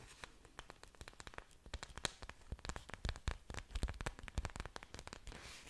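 Long pointed nails tap and scratch the thick, glossy green leaves of an orchid plant. Many quick, dry clicks and brief scraping crackles come in an irregular patter. Each contact is short and sharp with almost no ring, over a faint hiss.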